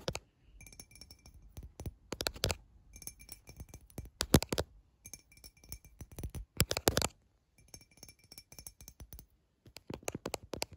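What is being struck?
Glass drinking tumbler.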